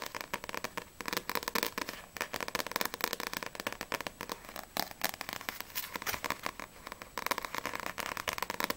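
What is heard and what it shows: Long painted nails tap fast across the glossy paper front cover of a small, solid paperback manga, Sprite vol. 3, held in both hands. The taps come as a dense run of crisp, dry clicks with a bright, papery edge, little low end and almost no ring.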